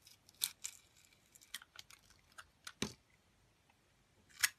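A metal box-cutter blade slices curls off a solid amber translucent glycerin soap with gold glitter, held in a hand with long dark nails. Crisp, bright scraping cuts come in short bursts with quiet gaps between, the loudest near the start and end.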